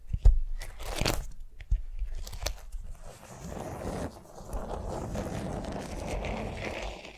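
Long nails tap and scratch a flat beeswax-coated cotton food wrap lying on a vinyl mat. A few sharp, crunchy taps come first, then a steady stretch of soft crinkling and scratching, mostly low and dull with little brightness.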